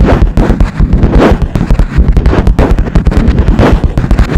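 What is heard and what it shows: Long nails of one hand tap rapidly on a cream, smooth, hard plastic or laminate lap desk top, a flat board. About 25 quick, loud taps come out as dull, boomy knocks concentrated in the low end, with a tone near 300 Hz and almost no high content. Each tap dies away within a fraction of a second.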